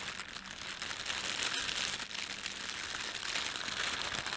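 Fingertips pinch, rub and crumple the film of an empty, thin, red printed plastic bread bag. A steady, dense crinkling fills the clip, bright and airy with almost no low end, rising and falling slightly without separate pauses.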